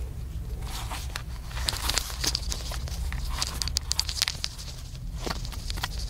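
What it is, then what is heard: Plastic camcorder. A small, hollow black plastic camcorder is held flat and tapped rapidly with the fingertips and fingernails. The result is a quick run of crisp, dry clicks and light crackly taps with a bright high edge, over a steady low rumble.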